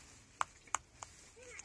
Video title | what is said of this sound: ปลูกเตยหอมในกระถาง และพาไปดูลูกพลับหวานที่ญีปุ่น | แต่มันยังกรอบอยู่เลย เสียงกรอบ